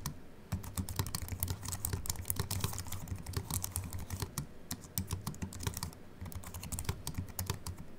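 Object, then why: Aluminium and plastic computer keyboard. Fingertips of both hands type fast on a compact Apple keyboard with a silver aluminium body and white plastic keys, resting on a wooden desk. Quick, short key taps run almost nonstop after a quiet first half-second, each with a bright click over a dull low thump. There is a brief lull around the six-second mark before the typing picks up again.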